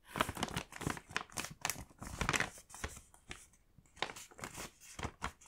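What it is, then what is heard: Paper gift bag being folded and creased. A medium-size mint Moomin-print paper bag filled with candy packs has its top flap folded and pressed down by fingertips, creasing and rubbing the paper. The result is a run of crisp, bright crinkling and rustling bursts with quick, dry decays and brief pauses between them.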